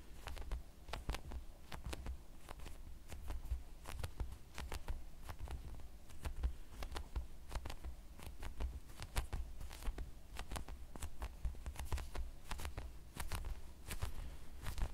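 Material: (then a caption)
Polyurethane foam. A white, roughly square, palm-sized squishy toy of solid soft polyurethane foam is held in both hands in front of the mic, tapped with the fingertips and squeezed. A steady stream of quick, soft, low thuds mixes with brief crackly clicks and faint squishing throughout. The sound stays dull and close, each tap dying away almost at once.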